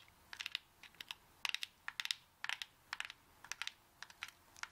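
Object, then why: Whole coconut tapped with long fingernails. A whole coconut found on the beach, left unopened because it is unknown how long it sat there, is tapped with long acrylic nails. The result is a quick series of light, dry clicks and taps with almost no ring. The sound is high and bright with no low end, arriving in small clustered bursts.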